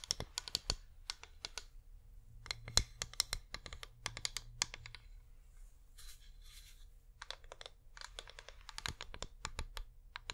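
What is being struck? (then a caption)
Wax pillar candle. Long nails rapidly tap a flameless wax pillar candle held in both hands, producing quick, sharp, bright clicks in uneven bursts that stop almost instantly. Around the middle the taps thin out into softer, scratchy rustling before the fast tapping resumes, all over a faint steady low hum.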